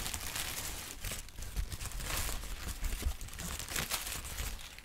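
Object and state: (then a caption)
Crinkled tissue paper. A large, thin sheet of yellow-green textured tissue paper is held up and crinkled with the fingertips of both hands. The result is a steady, dense run of bright, crackly rustling with small sharp crunches scattered through it, over a soft low rumble.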